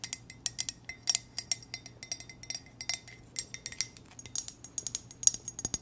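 A hollow black glossy ceramic coffee mug with white text is tapped and scratched with long nails, giving a rapid run of about 26 light, bright clicks and ticks. Each hit is sharp and high-pitched with almost no ring, over a faint low hum.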